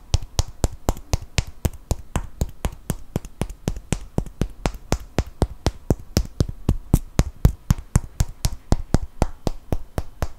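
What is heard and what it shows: Fingernails tap and scratch a small solid natural cork wine stopper held in the fingers. About 43 quick, fairly steady taps, roughly four per second, each a sharp, dry click with a soft low thump and almost no ring. A faint scratchy rustle fills the gaps between taps.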